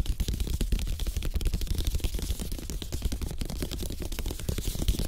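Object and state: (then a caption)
Bamboo placemat. Fingertips tap rapidly across the slats of a thin, solid, flat bamboo placemat, possibly with some light scratching. The result is a dense, continuous patter of short, dull low thuds with quick decay and faint crisp clicks on top.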